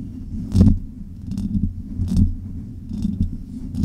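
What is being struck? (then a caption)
Metal mesh microphone grille. Long nails scratch the hollow metal mesh grille of a silver Blue Yeti microphone, making dull, low, rumbling scrapes with brief bright rasps. A single fingertip then taps the grille. The loudest bursts come around half a second, two seconds and three seconds in.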